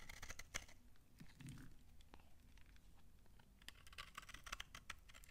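A knife blade scrapes flaky curls off a shrinking, solid, dry brown laundry soap bar, and the bar is then held up. Crisp, dry crunching and scratching clicks come in quick bright bursts at the start and again near the end, with a quieter stretch of soft scraping in between.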